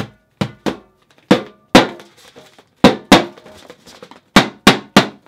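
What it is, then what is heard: Inflatable plastic thundersticks. A pair of long, hollow, air-filled inflatable plastic thundersticks, white with blue print, is held one in each hand and banged together. It makes a string of sharp, hollow whacks at irregular intervals, often in quick pairs, each with a bright, broad crack that dies away fast. Faint plastic rustling fills the gaps between hits.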